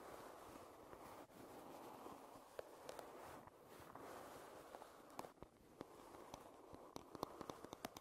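Long red-painted nails scratch and tap the solid back of a light wooden paddle hairbrush lying bristles down. A steady, soft, hissing scrape fills the clip, broken by short, dry clicks from the nails that come more often in the second half. The sound stays quiet, with no ring after each tap.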